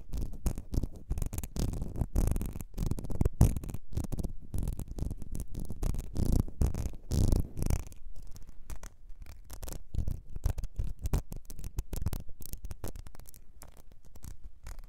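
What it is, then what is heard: Glass perfume bottle. Long nails tap the thick glass base and scratch the ridged sides of a small, ribbed, clear glass perfume bottle that is partly filled and held in the hands. The result is a dense, continuous run of quick taps and rough scratches, mostly low and dull, with no ringing tail on any of them.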